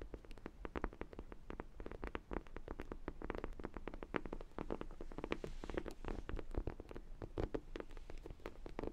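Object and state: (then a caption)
Vinyl donut dog toy. A large, hollow sprinkle-donut dog toy, likely vinyl, is held in both hands while long nails tap and scratch its glazed top. Rapid, dry tapping and scratching clicks run steadily throughout, with a hollow low body and no lingering ring.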